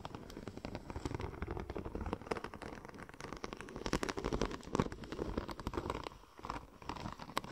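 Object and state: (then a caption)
Checker plate vinyl wrap sheet. A curved, silver checker-plate-pattern vinyl wrap sheet is held in one hand while long nails scratch and tap across its embossed tread. The result is a dense, continuous crackle of quick, dry scratches and small taps, with occasional sharper clicks standing out, mostly low and mid in tone with little brightness.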